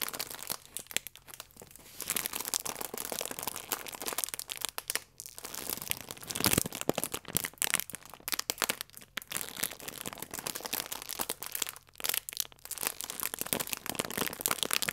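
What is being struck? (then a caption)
Plastic film food wrapper. Fingers press and crinkle the plastic film of a full croissant pack held flat in both palms. The result is a steady stream of dense, bright crackles and crinkles with little low end, rising and falling in bursts across the clip.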